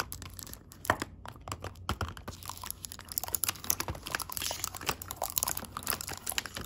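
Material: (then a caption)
Metal, plastic. Long pink acrylic nail tips tap the clear window lids of small round gold metal tea tins filled with loose tea. The result is a quiet, steady stream of quick, crisp, bright clicks and light crinkling taps with almost no ring.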